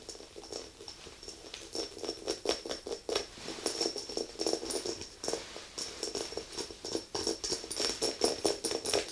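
Long acrylic nails tap and scratch the rim and sides of a small glass candle jar full of white wax with a metal lid. The result is a rapid, steady run of light, sharp clicks with a ringing glassy tone around 450 Hz, a bright high shimmer over each tap, and soft scratching between them.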